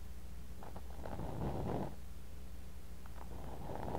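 A thin bamboo ear pick scrapes and digs into kinetic sand filling a clear glass cup, right beside a mini microphone buried in the sand. Close, muffled scraping and gritty crunching rise in two bursts over a steady low rumble, with nothing bright above.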